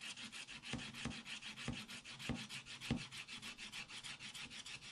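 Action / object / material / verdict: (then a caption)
scrape / wax-coated scratch-art paper and wooden stylus / waxed paper / none. A wooden stylus scratches the black wax coating off a spiral-bound scratch-art paper pad lying flat on a table, revealing a colourful cactus picture, and fingertips brush the shavings off the page. The clip is a steady run of short, bright, raspy scratching strokes with a hiss concentrated in the upper range. Several stronger strokes add a low thump to the loose rhythm.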